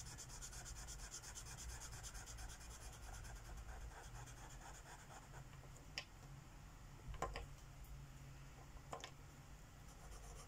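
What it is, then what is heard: Marker rubbing on a paper page. A magenta Sharpie marker tip rubs back and forth on a flat paper coloring book page lying on a wooden table, filling in a petal. Quick, rhythmic, bright scratchy strokes run steadily over a low background hum for the first half. Later the strokes soften and are broken by a few sharp ticks.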